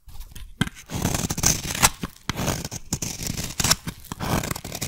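A solid teal soap bar is shaved with a metal blade into fine white-teal curls, giving a run of crisp, papery scraping and cutting strokes. Each stroke carries a bright, high hiss over a soft low body, with brief sharp peaks and short pauses between cuts.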